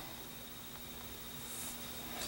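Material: Nothing is struck.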